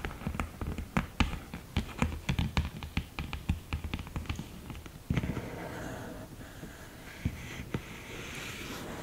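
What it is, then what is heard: Cardboard eyeshadow palette with mirror lid. Long green nails tap and scratch the mirror surface and lid edge of an open cardboard eyeshadow palette with a mirror lid. About five seconds of quick, sharp, dry taps are followed by a steadier, softer scratching with a few scattered taps.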